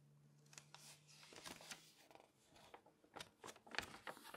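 Long-nailed fingertips tap and scratch the pages of an open glossy paper magazine and flip through them, making crisp, bright nail clicks and papery rustles at an irregular pace. A faint low hum runs under the first half, and the sounds stay quiet and close.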